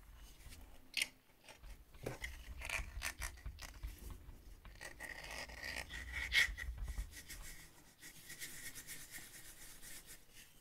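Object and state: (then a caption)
Plastic-lidded glass coffee jar. Fingernails scratch along the ribbed black plastic lid of a partly full, plastic-lidded glass coffee jar turned on its side. The sound is a steady, bright rasping, like filing, with a few sharper clicks near the start and around six seconds in.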